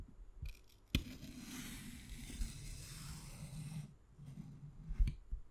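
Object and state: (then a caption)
Fresh aloe vera leaf. A small utility-knife blade scores a long lengthwise line into the skin of a large, thick, fleshy green aloe vera leaf, which lies on a wooden cutting board held flat by fingertips. A sharp tick as the blade bites in gives way to a steady, bright scratchy hiss lasting nearly three seconds over a low, soft undertone. The stroke ends and is followed by one more crisp click.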